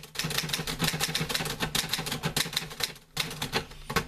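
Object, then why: Metal manual typewriter. Fingertips type on the keys of a green-grey metal portable manual typewriter with paper loaded. A quick, uneven run of bright, crisp clacks with a low thud under each is heard, each stroke dying out almost at once. The typing breaks briefly near the three-second mark, then resumes.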